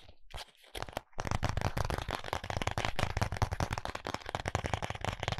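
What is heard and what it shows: Fingertips and nails tap and scratch the surface of a small, flat, white printed cardboard box of contact lenses held in both hands. After a few sparse taps in the first second, a steady run of quick, dry, crinkly taps and scratches follows. The sound has a papery rustle and a soft low thump under each hit.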